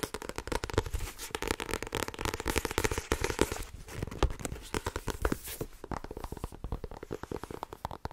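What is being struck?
Paperback book with card cover.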